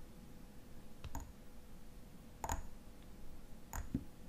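Fingernails tap the silver metal cap of a tall frosted glass lotion bottle. The result is sparse, irregular, dry clicks that die away almost instantly, each with a faint bright metallic tick, over a quiet low background hum.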